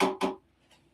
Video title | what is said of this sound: Junk Mail for Paper Mache! | That sounds like wood.